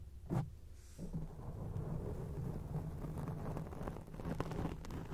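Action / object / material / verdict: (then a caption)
scrape / foam microphone windscreen / foam / none. Long acrylic nails scratch a grey foam microphone windscreen, making dense, low, rumbling crackles and rustles that sound almost like thunder. A brief thump comes near the start, then continuous muffled scratching with a steady low hum runs to the end.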